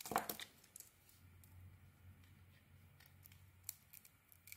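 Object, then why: Soap bar scraped with a small knife. A small metal knife blade scrapes and shaves curls from a hand-sized white soap bar with a red coating, held in one hand, leaving white shavings around it. A loud crisp tearing scrape opens the clip, followed by quieter, scattered shaving scratches over a low steady hum.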